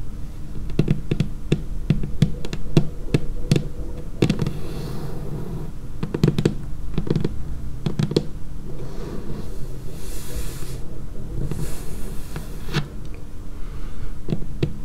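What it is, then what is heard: Laminated wooden tabletop. Long painted fingernails tap the edge of a dark laminated wooden tabletop in quick, irregular clusters. Each tap is a short, dry click with a low, dull knock underneath and almost no ring, over a steady low background hum.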